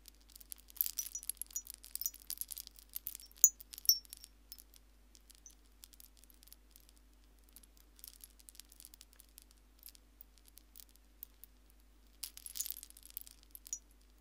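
A hanging wind chime of small white seashells is held up while long fingernails flick and rub the shells, making them rattle and chime against each other. Bright, dry clicking and tinkling comes in irregular bursts, busiest in the first few seconds, sparser in the middle, and swelling again near the end. Each tap dies away almost instantly, leaving little ring.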